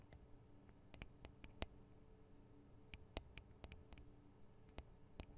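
Long decorated acrylic nails tap and scratch directly on the two small hollow microphone capsules of a Tascam DR-40 handheld recorder, metal-looking housings with plastic parts. Quiet, sharp, dry clicks land at irregular intervals and die away almost instantly over a low, steady hum.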